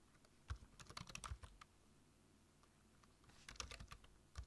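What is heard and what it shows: Fingertips tap the keys of a black plastic low-profile computer keyboard while typing, in two quick bursts separated by a quiet pause. Each keystroke is a short clack with a low thump and a bright click that dies away almost at once.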